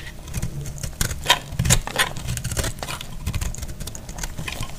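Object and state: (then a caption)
Dry soap bar being cut. A hand-held solid bar of dried, pink speckled soap is cut with a box-cutter blade, shaving off crisp flakes. The result is a rapid, irregular run of short, dry crackles and scraping snaps, with bright crisp edges over a soft low rumble. Each sound dies away almost instantly.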